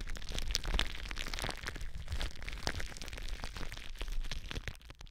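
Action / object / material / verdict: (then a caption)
scrape / plastic bubble wrap / plastic / none. Long blue nails scratch and squeeze clear plastic bubble wrap stretched over a microphone. A dense stream of crinkly crackles and sharp little pops runs throughout, with bright, high snaps over low handling thumps. The sound thins out and quiets near the end.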